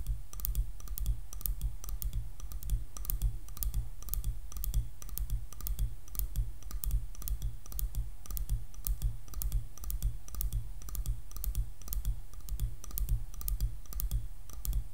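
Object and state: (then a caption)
Wooden hairbrush back, nail tapping. Long nails tap rapidly on the back of a light, solid wood hairbrush, making a steady stream of quick, dry clicks. Each tap is short and bright, with almost no ring, over a constant low rumble.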